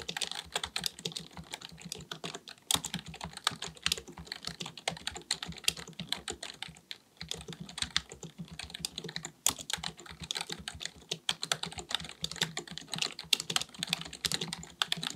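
Both hands type continuously with the fingertips on a black full-size plastic keyboard resting on a desk, likely mechanical with a hollow body. Rapid, bright key taps click and clack with almost no ring, broken by brief pauses near 3 and 7 seconds before the typing resumes.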